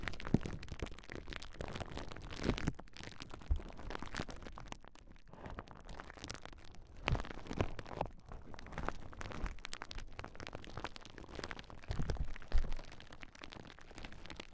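A large clear plastic bubble wrap sheet is held across a pair of Rode NT5 microphones while long nails scratch over it and pop the bubbles. The result is a dense, continuous crinkling and crackling texture with scattered sharper, louder pops standing out throughout.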